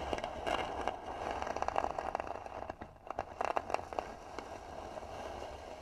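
Long nails scratch the flat lid of a hollow, tan carved wooden box, making dry, crackly scraping strokes with a woody tone in the mid range. Bursts of quick scratches come in clusters, ease off briefly near the middle, then pick up again before fading to a soft rasp.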